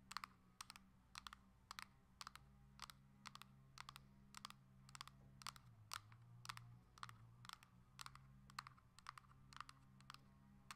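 Long nails tap in quick bursts on the plastic back and sides of a coral Nintendo Switch Lite held in the hand. The sharp, bright clicks come in fast clusters over a faint, steady low hum.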